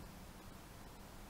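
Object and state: Nothing is struck.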